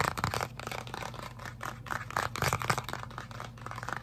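Fingertips and short painted nails tap and scratch fast on a small printed cardboard box of Avengers-edition UNO cards held close. The result is a rapid, irregular run of dry, papery taps and scratchy rasps centered in the midrange, each one very short with almost no ring, over a steady low hum.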